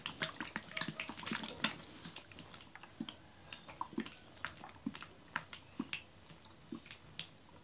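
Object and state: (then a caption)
Plastic bottle of oil, shaken. A clear plastic bottle of about 1 litre with a green cap, partly full of yellow coconut oil, is held in both hands and shaken so the liquid sloshes inside. A dense burst of bright, splashy sloshing in the first couple of seconds gives way to sparser, separate sloshes, each with a soft low thump and a short, quickly fading splash.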